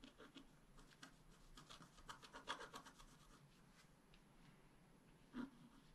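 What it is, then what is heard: Scratch-art paper being scratched. A wooden stylus scratches a dragon outline into a flat, black-coated scratch-art card. Quiet, uneven strokes of dry scratching and rubbing come in short bursts and build to a denser cluster midway. A single firmer scrape closes the clip near the end.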